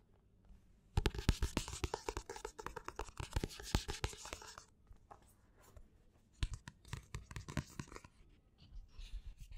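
Fingernails scratch and tap the matte paper front and back covers of a black paperback book with a solid paper block, including the barcode area. Quick, dry taps and rasping scratches come in a dense burst for about four seconds, pause, then return in a shorter flurry before fading to soft scratching. Each tap dies out almost instantly, with a dull low thud under a thin papery brightness.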